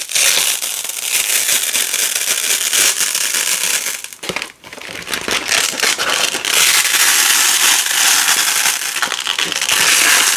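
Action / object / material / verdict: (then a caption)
scrape / nylon hook-and-loop strip / nylon / none. A wide black nylon hook-and-loop strip of thin, flexible fabric, with a fuzzy loop side and a ridged hook side, is held in both hands with long pink nails and slowly peeled apart. It gives a continuous, bright, high crackling rip that dips nearly silent around the middle before resuming steadily to the end.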